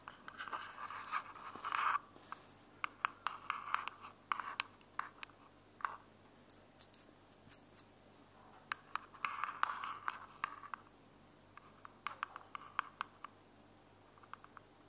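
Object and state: Plastic earbud charging case.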